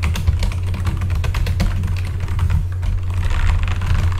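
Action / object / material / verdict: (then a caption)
tap / mechanical computer keyboard with plastic keycaps / plastic / none. Both hands type with their fingertips on a full-size backlit mechanical computer keyboard with plastic keycaps. A continuous run of quick, light key clicks and clacks sits over a steady, deep low hum.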